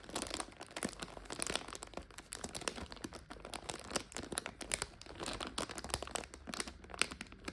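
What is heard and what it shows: Long nails scratch and pinch a clear plastic bag full of dried egg noodles, turned with its back side facing forward. The crinkly plastic gives a steady stream of bright, dry crackles and crunchy snaps with little low end, the individual clicks dying away almost instantly.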